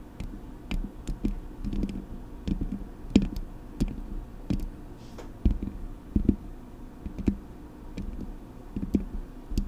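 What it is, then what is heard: Metal microphone grille and body tapped with nails. Long acrylic nails scratch the metal mesh grille of a Blue Yeti microphone, then tap on its body. Quick, dry clicks and dull low thuds come in uneven bursts throughout, each dying away almost instantly, with a steady low tone underneath.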